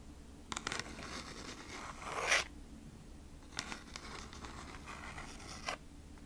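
Long nails scratch the front of a kraft cardboard food-wrap packaging sleeve held upright close to the microphone. Dry, bright scratching rasps across the card, with a louder, longer scrape near the middle and a few sharper flicks. A steady low hum sits underneath.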